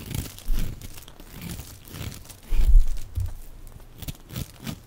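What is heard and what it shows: A small black-handled knife shaves and carves thin curls off a hand-sized, dry, solid bar of green soap held in one hand, the shavings crumbling onto a pile. Soft, dry crunching and scraping bursts repeat with brief pauses, dull and low with quick decays.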